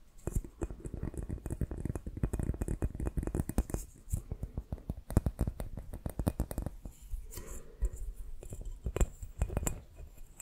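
Fingertips and short nails tap and scratch the surface of a small, hollow, empty clear glass bowl or dome with white printed markings, held close to the microphone. Dense, rapid taps land as soft, low-heavy thumps with very short decay, mixed with brief scratching between bursts.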